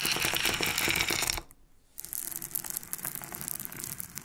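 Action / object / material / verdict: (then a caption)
shake / loose pearls / pearl / none. Freshly extracted pearls are handled and clicked together, giving a dense run of bright, sharp clinks and rattles. A brief near-silent pause follows, then lighter, scattered clicking resumes.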